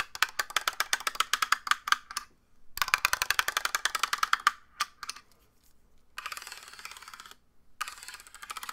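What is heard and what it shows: Fingertips and nails scratch and scrape along the thin, open parallel slats of a medium-sized wooden board, trivet- or rack-like and not hollow, held up beside a microphone. Rapid bursts of dry, clicking ticks centered around 1.2 kHz with bright edges die away almost instantly, separated by short silences. Later they give way to a softer, continuous scratchy rasp.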